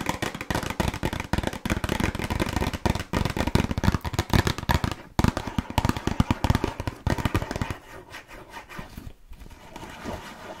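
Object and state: Cardboard cookie box.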